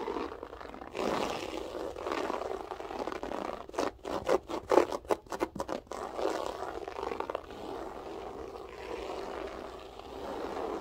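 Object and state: Loop-pile carpet being scratched.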